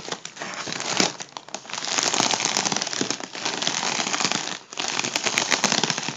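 Fingertips tap and crinkle the surface of a hollow, partly inflated gold mylar foil balloon. The result is a dense, bright crinkling and crackling that runs almost continuously, with brief dips in loudness near the 1.5- and 4.7-second marks.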